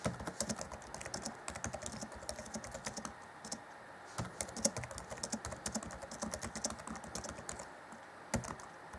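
Fingertips of both hands type on the black plastic chiclet keys of a grey Acer Chromebook C20 (2014) laptop keyboard. A steady run of quick, soft, clicky taps with bright tops and short, dry decays continues with brief lulls, and a few sharper, louder keystrokes stand out.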